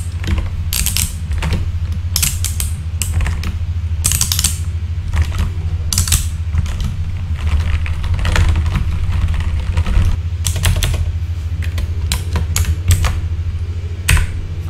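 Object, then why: Plastic mechanical keyboard keys. A full-size backlit mechanical keyboard with plastic keycaps, resting on a desk, is typed on rapidly with the fingertips of both hands. The result is a steady stream of sharp, bright plastic clacks over a constant low hum.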